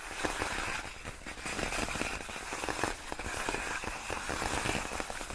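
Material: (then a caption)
Plastic. Long nails lightly tap and scratch across large, clear, inflated plastic air-column cushion wrap made of hollow air-filled tubes. The result is a steady stream of dense, crackly clicks and dry scratching with a bright, papery edge and a faint hollow ring. It stays at an even, moderate level throughout.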